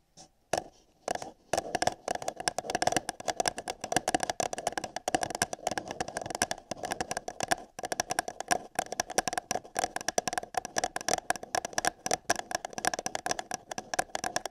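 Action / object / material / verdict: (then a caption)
scrape / empty paper cup / paper / none. Long yellow nails scratch and tap the surface of an empty, hollow printed paper cup held over a binaural microphone's ear. The result is a dense stream of dry, crackly scrapes and quick taps with a hollow ring around 730 Hz and bright, papery highs.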